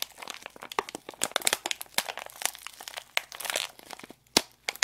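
A small sealed foil-plastic candy packet, still full, is crinkled, bent and scratched with long acrylic nails and fingertips in both hands. Dense, bright crackling crinkles with sharp clicks and scratches are heard. The sounds come in quick irregular bursts with no low rumble.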